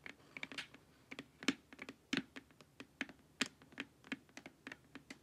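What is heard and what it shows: Long nails tap the sides of a glossy, hollow plastic LED face mask in an irregular run of about nineteen quick taps. Each tap is a bright, dry click over a faint hollow knock near 270 Hz and dies away almost at once. The result sounds like light, uneven typing on a plastic keyboard.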